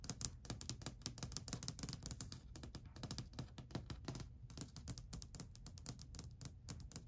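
Long white nails tap quickly across a long, flat, solid varnished wooden ledge. A fast, steady stream of short, dry clicks pairs a low, knocking body with a bright, crisp tick. Each tap dies away almost instantly.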